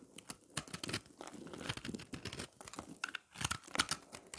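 A round, solid slab of dry pressed green and yellow recycled soap, held in the hand, is scraped with a knife blade, throwing off crunchy flakes. The sound is a run of dry, crackling, crunchy scrapes in quick, uneven bursts, bright and high with little low end, each cutting off sharply with no ring.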